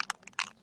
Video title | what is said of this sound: 3-18-24 Tim Holtz Distress 101 with Teresa | it's got a little ball in it yeah you can hear it